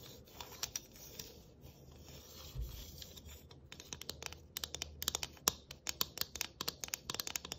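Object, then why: Thin galvanized tin ornament. Long nails scratch across a thin galvanized tin Christmas ornament with a tree cut-out, making a soft, bright, continuous scraping for the first few seconds. The nails then switch to rapid, irregular tapping on the sheet metal, producing a run of sharp, high, dry clicks with almost no ring.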